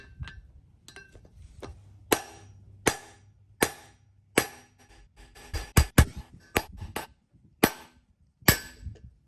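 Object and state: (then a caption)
Fully seated steel bearing race. A steel outer bearing race is knocked into the axle hub of a Toyota/Lexus solid front axle (FJ80 / LX450) with a seal driver, producing about a dozen sharp, short metallic strikes, some spaced and some in quick succession. The impacts sound solid, and the race ends up fully seated against the inside flange of the hub.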